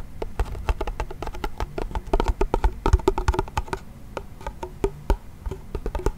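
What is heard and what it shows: A small wooden toy pellet drum with a wooden frame and a white head is twisted and shaken by its handle and tapped by hand. It gives a rapid, irregular run of short, dry clicking taps with a low thump underneath. Each hit dies away almost at once.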